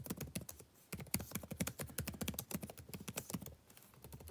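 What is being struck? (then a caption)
Plastic laptop keyboard. Fingertips type on a backlit laptop keyboard with plastic keys, producing a quick, uneven run of short, dry taps over about four seconds. Each tap has a soft low thump and a bright click that dies away almost instantly. There is a brief lull just before the one-second mark, then steady typing resumes.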